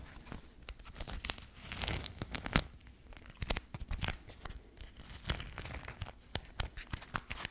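A pink floral beeswax-coated cotton food wrap, a thin waxed fabric sheet held close to the mic, is folded, crinkled and rubbed by fingertips. The result is a dense run of sharp, dry crackles and crinkles with bright, high snaps over a soft rustling bed.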